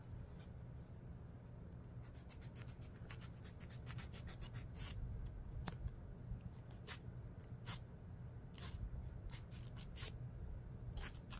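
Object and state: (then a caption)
Emery nail file. Fingernails are filed against a thin, solid, dark emery board nail file held in the other hand. Quiet, short, bright scratching strokes repeat irregularly over a steady low hum.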